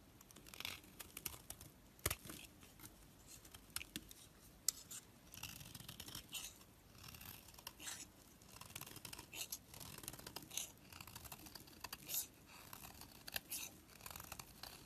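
A black blade carves a solid orange bar of bath soap into a shape, shaving and scraping off flakes. Quiet, bright, crisp scraping strokes come in short bursts with dry, quick-fading edges and little low end.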